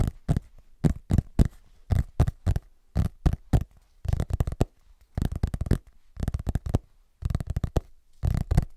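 Fingertips and short nails tap and scratch the back cover of a large, solid, closed hardcover book with a parchment-style printed cover, held upright in front of the mic. Irregular clusters of quick, muffled, bass-heavy taps and scratches come in bursts separated by short silences. Each hit is dry and stops almost instantly.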